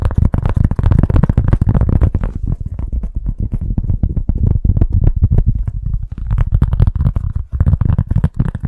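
Fast, continuous tapping on a cork stand gives a dense run of short, dull, bassy knocks. The sound is mostly low thuds with almost no high end, each tap dying away almost at once.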